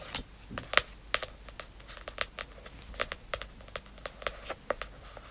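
Quick, crisp fingernail clicks with no ring, tapping on a hardcover book's cardboard cover.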